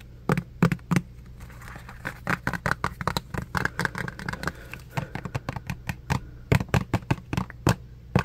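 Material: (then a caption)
Plastic. Fingertips rapidly tap a small clear plastic pump soap bottle held close up, producing a quick, uneven series of short, dry clicks and taps. A steady low hum sits underneath throughout.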